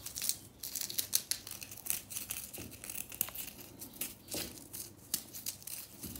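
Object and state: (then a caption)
Compressed powder bath bomb. Long nails crumble and scratch a small pink remnant of a solid compressed-powder bath bomb in the bath, with crumbs falling away. The sound is a dense, dry, bright crinkling and scraping with quick crackling flicks and a few soft, low taps, each bit dying away almost at once.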